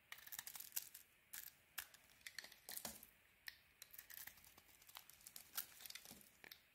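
A metal blade carves curls and scores cuts into a palm-sized, solid pink-coated white bar of soap held in the hand. The result is a quiet, bright, dry scraping and crackling that comes in short, rapid bursts, with a few sharper snaps between softer shaving sounds and almost no low end.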